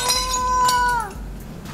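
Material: Nothing is struck.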